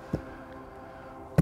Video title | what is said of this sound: Walk Around the Washington Park Arboretum with Certified Arborist - Root Cause Seattle | hollow sound you hear is the sound of the bark. There's no conductive tissue anymore.